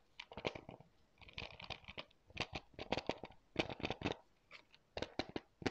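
Fingertips and nails tap and scratch a hollow, thin, hard blue plastic UFC PS4 game case and its cover wrap, held in both hands close up. Quick, dry clicks and crinkly scratches come in uneven bursts with brief pauses, each one cutting off almost at once with a bright, papery edge.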